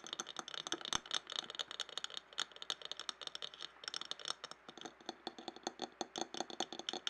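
A clear glass jar standing upside down and filled with paper scraps is tapped quickly with fingernails, then tilted. A rapid, uneven stream of light, bright clicking taps is heard, each very short and dry with almost no low end. The tapping stays quiet and steady throughout.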